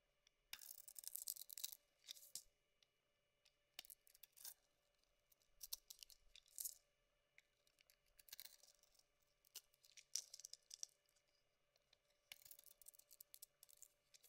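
A solid lilac oval bar of soap with a white interior, held in the palm, is scraped and carved with a metal blade. Short bursts of bright, crisp scraping and crackling come in separate strokes with brief pauses between them, over a faint steady hum.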